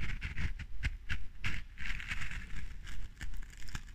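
Long dark-painted nails scratch and tap the textured white top layer of a small clear glass jar candle filled with red wax, held in one hand. A steady run of soft, crackly scratches and dry taps is heard, each brief with almost no ring, over a light low rumble.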